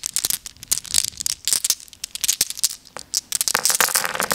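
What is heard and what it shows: A handful of small solid glass gems is held in cupped hands by someone with long nails and shaken and rolled against each other. They make rapid, bright, dry clinks and rattles with no ring. The clicking grows denser and more continuous toward the end.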